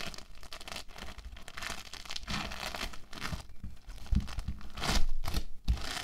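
Hands with short nails press and squeeze orange bead foam clay (playfoam) against a table, first as a roll and then as a solid, flattened lump. The foam beads give a dense, continuous crinkling and crunching with tearing-like textures and soft low thumps. The sound swells into louder squeezes near the end.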